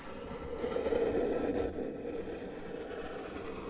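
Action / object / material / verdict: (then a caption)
scrape / paper sheet drawn on with a felt-tip marker / paper / none. A felt-tip marker tip is drawn in one continuous line across a flat white paper sheet resting on a table. It makes a soft, steady scratching rub centered in the midrange, loudest in the first half of the stroke before easing into a quieter, even drag to the end.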